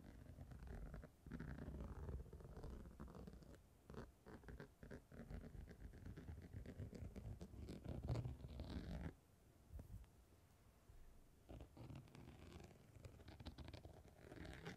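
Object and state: Glitter fabric surface scratched with a comb.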